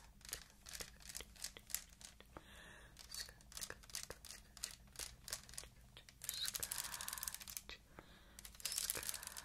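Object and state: Clear plastic beaded bag.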